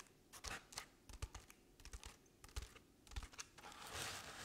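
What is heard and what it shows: Long painted nails scratch the ribbed, crinkled paper underside of an artificial paper-covered decorative pumpkin that is tilted to one side. Quiet, dry scratching strokes come in an uneven series of short crackly bursts with a bright papery edge and a low thump, ending in a longer rasping scrape. Each stroke stops dead with no ring.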